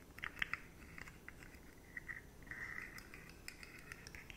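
A rainbow-colored, hollow, jointed plastic fidget slug with stacked rigid segments is scratched and tapped by long nails. The result is a quiet series of dry, clicky scratches and taps, with a bright tone near 1.9 kHz. Several of the taps stand out sharply, and a longer scraping passage runs through the middle.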